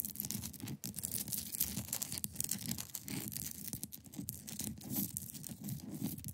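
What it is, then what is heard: Ice block being scratched. Long pointed nails scratch across the top of a large, solid, clear ice block resting on a fabric surface. The result is a steady run of dense, bright, crackling scrapes over a low, rumbling body, with quick short strokes blending into one another.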